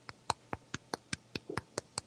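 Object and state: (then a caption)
Crisp cornbread crust. The crust of freshly baked cornbread in a cast iron pan is tapped about ten times in quick succession. Each tap is a short, dry, crisp click with almost no ring. The crust sounds right, baked to a crisp finish.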